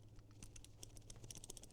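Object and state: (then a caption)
Tight, non-rattling plastic sling bag buckle. A plastic Duraflex buckle on a Tomtoc T21 X-Pac sling bag is shaken, producing only faint, light clicks over a low background hum. The buckle is tight and does not rattle.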